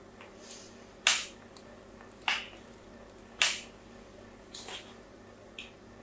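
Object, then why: Bar of soap scratched with a thin blade. A thin blade scratches fine diagonal lines into a solid pink bar of soap held in a hand with green-painted nails. Three sharp, bright, crisp scrapes stand out clearly, with a few softer strokes between them, each fading quickly over a faint steady hiss.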